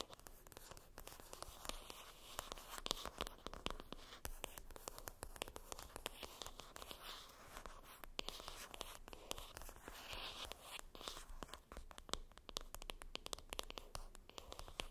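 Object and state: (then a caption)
Cardboard makeup palette box scratched with nails. Long acrylic nails scratch and tap across the top of a flat, rectangular, printed cardboard makeup palette box that is hollow and lying flat. The result is a quiet, continuous stream of rapid, dry scratching and clicking with a bright, papery crackle. Short, sharp taps are scattered throughout.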